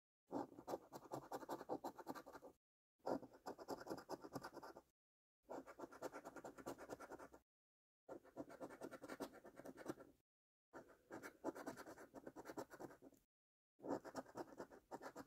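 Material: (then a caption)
Cardboard. A coin edge held in the fingers scrapes the silver latex panels off a thin cardboard £2 National Lottery "5x £100 Multiplier" scratch card lying flat. Six bursts of rapid, dry, papery scratching strokes are separated by brief silences, and the panels are scraped away.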